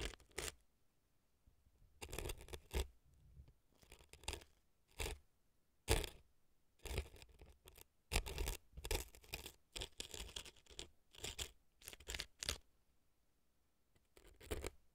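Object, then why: Floral foam block inside a silicone ear model, scraped with a thin earpick. A thin earpick scrapes crumbly dry floral foam inside the right ear canal of a silicone fake ear resting on a dry floral foam block. Short, dry scraping and crunching bursts come in irregular clusters with quiet gaps between them. Each burst carries a low thump and a bright, crackly hiss that dies away almost at once.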